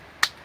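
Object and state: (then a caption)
Wild green plant pod popped by striking. A wild green pod from a farm, an inedible relative of the edible budapacha kaaya that children used to play with, is struck once and gives a single short, sharp pop like a finger snap. The snap is bright and crisp, centered in the upper midrange with a high sheen and no low end, and dies away almost instantly against a quiet background.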